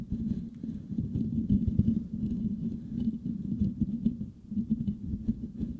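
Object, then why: Perforated metal microphone grille. Fingertips and short nails of both hands scratch the perforated metal mesh grille of a white Blue Yeti microphone with a hollow head. The result is a dense, continuous patter of scratchy rubbing that sounds low and muffled, with a steady hum-like tone around 200 Hz and almost nothing bright above.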